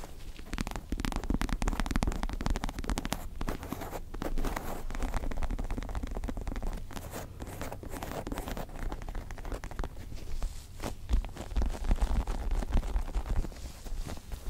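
Long nails scratch a small stuffed star-shaped pillow with a white and pink faux leather cover, held in both hands above the mic. The result is a dense, continuous stream of soft scratching and rustling that is heavy in low rumble, with little brightness. It swells and dips in intensity throughout.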